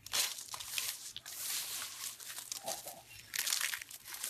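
A pile of thin, brittle, dried pink soap curls is pressed flat and crushed by the palms and fingers. The result is dense, dry, crackling crunches and crinkles, almost entirely bright and high with no low end. The crushing comes in overlapping waves, loudest at the start and again near the end.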